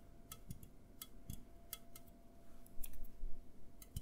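An A&W aluminum drink can is held tilted in both hands and tapped and scratched with fingertips and nails. Quick, bright metallic clicks and taps come in an uneven rhythm, some carrying a soft low thump, over a faint steady hum.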